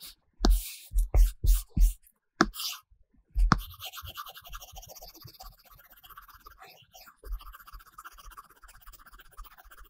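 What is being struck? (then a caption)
Stylus on tablet glass with paper-texture film. A stylus tip in a pink silicone case scratches and strokes across an iPad glass screen fitted with a flat, matte paper-like film while colouring. Several quick, breathy scratching strokes come in short bursts at the start, followed by a steady stream of softer, fine scratching and tapping with a bright, papery texture.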